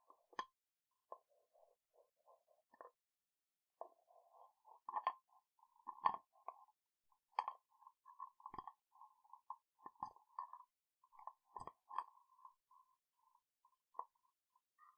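Fingernails tap on the body and black lid of a small dark glass candle jar with a white label, held close to the microphone. The result is a quiet, irregular run of short, dry clicks with a faint glassy tone around 1 kHz, with some sharper taps standing out among softer ones.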